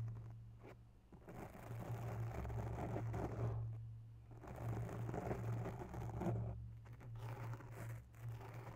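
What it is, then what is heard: Foam microphone windscreen being scratched. Long natural nails of one hand scratch a grey porous foam microphone windscreen, making soft, rustling scratches in slow waves that swell and fade. A steady low hum sits underneath throughout.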